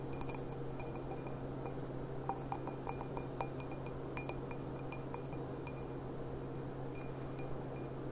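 An empty, hollow, clear glass stemmed goblet with a gilt rim is handled and turned while its bowl is tapped and clicked with long black-painted nails. Scattered short, bright glassy clinks ring briefly over a steady low hum.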